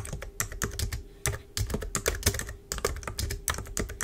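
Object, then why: Plastic computer keyboard. Long pointed nails and fingertips of both hands type on a black plastic computer keyboard resting on a desk. The result is a steady run of quick, crisp clicks and taps with a low thud under each keystroke and bright clicky highs, each one dying away almost at once.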